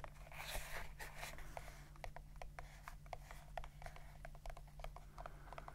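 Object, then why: Small leather pouch. A small brown leather pouch or sheath with a snap flap is held in the hands and tapped and scratched with the fingertips and fingernails. Quick, soft clicking taps mix with brief scratchy brushing over a quiet, steady low hum.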